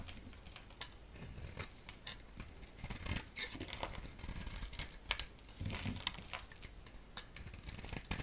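A solid striped bar of soap, held in the hand, is scraped and shaved with a utility blade. Brief scratchy, crumbly scraping strokes with bright, high crackle sound against a soft low rumble. Shavings come off the bar.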